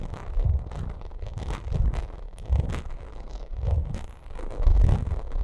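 Long acrylic nails scratch and tap across a white pyramid-textured vinyl makeup bag. The result is a dense, continuous stream of crackly scratching and soft tapping with a heavy low-end thump. Bright, brief flicks ride on top and swell into louder bursts every second or so.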